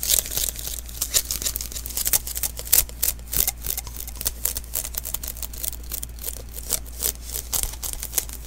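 A small hollow sticky lint roller refill, an adhesive paper roll, is held in the hands while fingers and palm pat its surface. Each pat brings a quick, bright, crackly peel as the skin pulls off the adhesive, in an uneven run of dozens of short taps. A steady low hum sits underneath.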